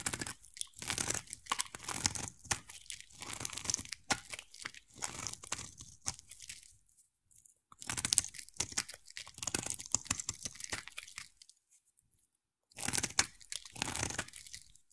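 A utility knife blade carves a solid, hand-sized oval bar of purple soap, shaving off curls. Dense, bright, crunchy scraping comes in bursts, with short silent gaps near 7 seconds and again around 12 seconds before the cutting resumes.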